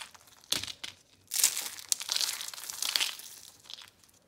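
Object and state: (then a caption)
Dry brittle soap curls crushed. Whole dry, brittle, hollow-rolled orange and red soap curl roses are squeezed and crushed in bare hands into flakes over a pile of soap crumbs. Sharp, bright crunching and crinkling bursts come in irregular waves, with almost no low end and each crackle stopping dead.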